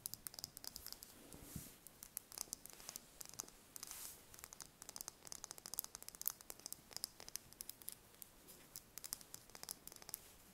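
A single thin-shelled brown chicken egg held in the hands is tapped and scratched with long red nails, giving dozens of quick, dry, bright clicks over a soft high scratching hiss. The hits are very short and mostly high-pitched, with little low end and brief scraping swells between taps.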